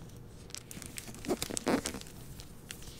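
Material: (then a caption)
Plastic, paper. A hardcover novel in a glossy plastic library dust jacket, with a portrait on the back cover, is held, opened, and its paper pages fanned and turned with the fingers. Soft crinkles and papery rustles run throughout, with a few louder, brighter swishes near the middle as the pages flip.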